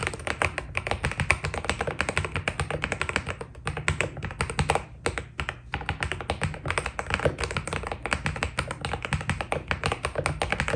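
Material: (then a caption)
PBT plastic. Fingertips of both hands type continuously on a white Keydous NJ80 mechanical keyboard with PBT plastic keycaps. The result is a dense, steady stream of short, dry clacks, each with a low, thocky body and a bright click on top, with a brief lull around the five-second mark.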